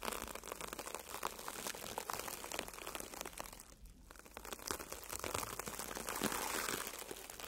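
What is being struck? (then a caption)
Foam sponge brushed with bristle brushes. A red porous foam sponge, solid and soft, is brushed by the tips of two bristle tube brushes. This produces a steady, bright, crinkly scratching texture with dense rapid strokes, which dips briefly near the middle before growing louder toward the end.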